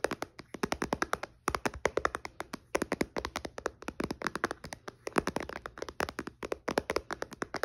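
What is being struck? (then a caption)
Tablet with glass touchscreen. Fingertips and nails tap quickly on the glass touchscreen of a white iPad that is switched off and sitting in a case on a blanket. The sharp, dry clicks come in rapid bursts separated by brief pauses, each tap dying away almost instantly with little low-end thump.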